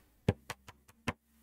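Fabric with sticky stabilizer, stretched really tight in an embroidery hoop, is tapped five times with a finger. Each tap gives a short, low, drum-like knock that dies away almost at once, with the first tap loudest and the middle ones softer.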